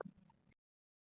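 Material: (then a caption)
Jaggery. A ball of boiling jaggery syrup for peanut chikki, set by dropping it into a bowl of water, is knocked against a plate and gives short, faint knocks with no ring. The sound shows the syrup has reached the hard-ball stage and is almost done.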